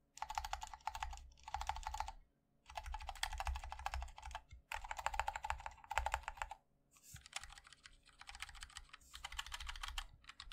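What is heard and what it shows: Fingertips type rapidly on a MOD-L 60% mechanical keyboard with linear switches, a black aluminium case and white and black ABS keycaps, resting on a wooden wrist rest. Bursts of quick, dry key taps pair a deep thock with a bright clack. They are broken by short pauses, and each tap stops almost instantly.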